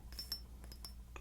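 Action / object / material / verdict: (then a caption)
tap / frosted glass perfume bottle / glass / none. Light clinks and taps on a frosted glass Bvlgari perfume bottle with a gold top give six bright, high-pitched ticks. Each tick rings briefly over a steady low hum.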